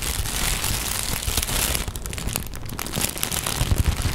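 Sheets of thin pink tissue paper are folded and handled as fingers crinkle, scratch and fold them. The result is a steady, dense crackling rustle with quick irregular crinkles and a few soft low thumps toward the end.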